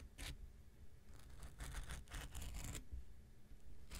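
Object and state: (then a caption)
Foam nail buffer block scraped with a blade. An X-Acto knife blade scrapes across the surface and edge of a small, rectangular pink nail buffer block made of solid foam with an abrasive coating. Short, dry, bright scratching strokes come in bursts over a low, quiet rumble, with brief pauses between them.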